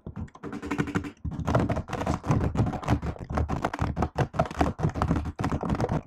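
Fingertips and long nails type rapidly on a laptop keyboard with plastic keycaps. The result is a fast, uneven stream of short, dull clicks and soft thuds with little ring, broken by brief pauses.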